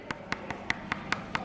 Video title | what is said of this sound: WE MADE A BELLY CAST OF SAPPHS PREGNANT BELLY | Can you hear that tap? It's gone hard.